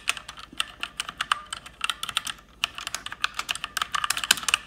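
Fast typing with fingertips and long red nails on an RGB-backlit plastic mechanical keyboard with plastic keycaps. Rapid, bright clicky keystrokes come in irregular bursts with a short pause near the middle, each hit sharp and dying away almost at once.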